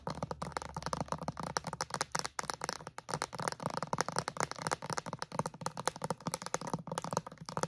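Long acrylic nails tap and scratch quickly across a clear plastic bottle with a white cap, wrapped in crinkly plastic film. The sound is a dense stream of short, dry clicks mixed with crackling rustle from the film, over a faint low hum in the first couple of seconds.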